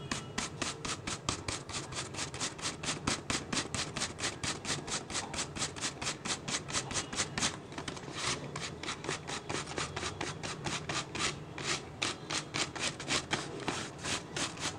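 Fingertips rub, scratch and tap the base and sides of an empty, hollow, clear PET plastic water bottle. A fast, steady run of short, dry, bright crinkling strokes repeats throughout with little ring, over a faint low hollow body.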